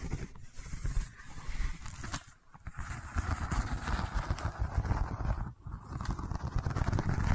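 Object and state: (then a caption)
Woven seagrass tube being scratched. A long cylindrical seagrass tube covered in a woven straw weave is tilted close to the microphone and scratched with long nails. The result is a dense, steady scraping rustle, heavy in the low end, that briefly drops away twice before resuming.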